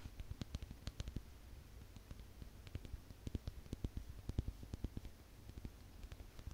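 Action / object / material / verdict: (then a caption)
tap / small faceted glass owl figurine / glass / none. A small, solid, faceted crystal glass owl with rhinestone eyes is held in the fingers and tapped and scratched with long nails. The result is a quiet, uneven stream of sharp, dry clicks with bright ticks over a faint low rumble, each tap dying away almost instantly.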